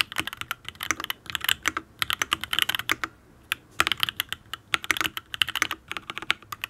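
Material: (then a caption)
Aluminium, ABS. Fingertips type on a full-size custom Matrix mechanical keyboard with an aluminium case, ABS keycaps and Tealios V2 linear switches. They produce quick bursts of short, bright, clacky keystrokes with no lingering ring, and there is a brief pause near the middle.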